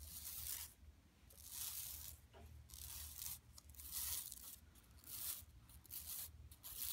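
Long nails scratch across an empty, large, flat yellow woven plastic mesh tote bag lying on carpet. Bright, dry rasping strokes come in uneven bursts separated by brief quieter gaps, over a steady low hum.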